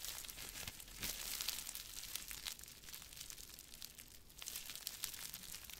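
A small wad of clear plastic bubble wrap is squeezed and crinkled between fingers close to the mic. It gives a dense, continuous stream of bright, crackly crinkling with many quick, sharp snaps and little low end. The sound swells louder around the first and last seconds and dips a little in between.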